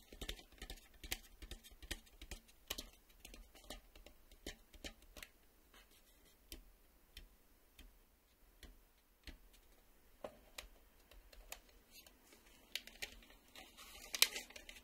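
Slow fingertip and fingernail tapping on the face of a black plastic VHS cassette with a hollow shell. About eighteen short, dry, high-pitched clicks sound at an irregular pace, each dying away almost instantly, with a slightly louder cluster near the end.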